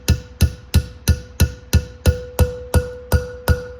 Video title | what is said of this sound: Replacing Valve Seals and Installing Valve Springs in my LS Heads! | it starts to sound a little bit more Hollow